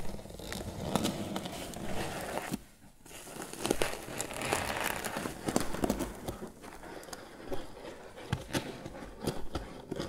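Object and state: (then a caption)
Crocheted twine basket. Fingertips and nails scratch and tap the lid of a grey crocheted twine lidded basket box. The result is a soft, dry, crinkly rustling broken by short, sharp taps, with a brief near-silent pause about a quarter of the way in before the scratching resumes.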